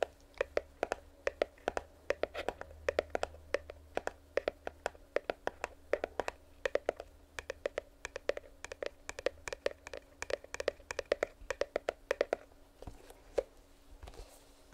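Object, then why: Small cardboard box. A small, closed, printed cardboard retail box for earbuds, held near the mic, is scratched and tapped with long nails. The result is a rapid, uneven run of short, dry taps with a hollow midrange knock around 570 Hz and a light scratchy texture between them. The tapping thins out and grows sparse toward the end.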